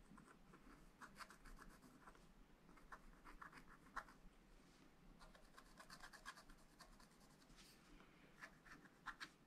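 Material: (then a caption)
Coated paper. A wooden stylus scratches fine strokes into a black-coated scratch-art paper page in a spiral pad, making quiet, dry, bright scratching with short raspy bursts. The strokes come in quick, irregular clusters over a low, steady background hum.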